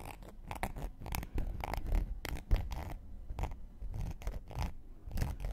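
A thin wooden knitting needle scrapes along the rim and edge of a round, flat, solid cork coaster held in one hand. It makes quick, irregular bursts of dry, scratchy scraping that flash bright and airy over a soft low rumble, each stroke ending almost at once.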